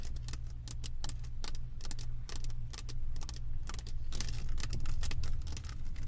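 Both hands scratch and tap a solid, flat diamond painting with a plastic resin-drill mosaic surface, using long white acrylic nails. Quick, bright clicks and scratchy rasps come in an irregular, steady stream over a constant low hum.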